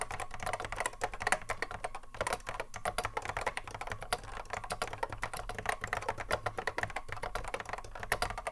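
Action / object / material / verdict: tap / plastic mechanical keyboard / plastic / none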